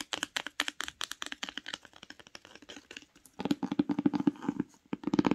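Long nails scratch and tap the tree-print spine of a paper-jacketed hardcover book while it is held, making quick, dry clicks and brief crinkly scrapes. After about three seconds the book lies flat and the nails tap its grey cover, giving louder, fuller taps with a hollow low-mid tone.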